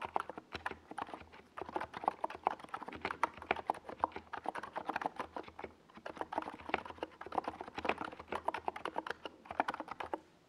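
A compact 68-key NiZ Plum Atom 68 mechanical keyboard with a hollow white plastic case and purple and yellow Domikey Gas Attack SA plastic keycaps is typed on rapidly with the fingertips of both hands while resting on a desk pad. The result is a steady stream of short, clacky key taps with a mid-range tone and quick decay.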